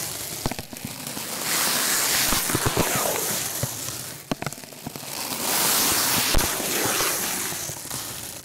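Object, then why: Stainless steel wool scrubber. Fingertips squeeze and rub a loose, springy, palm-sized ball of coiled stainless steel scouring pad over a sheet of paper covering a microphone. It makes a dense, bright, crackling hiss that swells in two long waves, broken by sharp snapping clicks.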